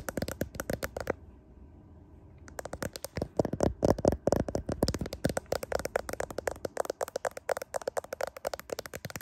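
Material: Glass.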